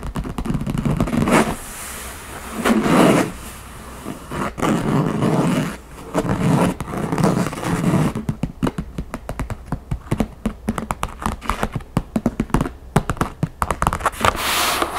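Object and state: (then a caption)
Wooden backgammon case tapped with fingernails. Long painted fingernails work over the top of a large, hollow, closed wooden backgammon case whose lid is covered in a printed map. The first half has slow, swelling scratchy strokes across the surface, then a quick run of dry, short taps with a hollow, low body and almost no ring.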